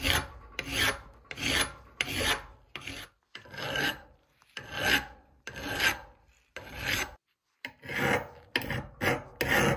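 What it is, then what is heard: Steel hammer head being filed. A gloved hand scrapes a hand file back and forth over the flat and pointed peen of a rusted, solid forged steel hammer head held in a vise. Each stroke makes a bright, gritty rasp that swells and fades, repeated at a steady pace with brief silent gaps between.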